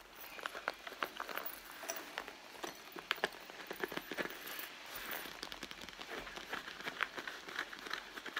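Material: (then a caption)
Leather. Long nails scratch across the leather front panel of a red leather handbag, making quiet, dry scraping and a steady run of crisp little clicks and taps. The sound is bright and close, with almost no low end, and each tick stops at once with no ring.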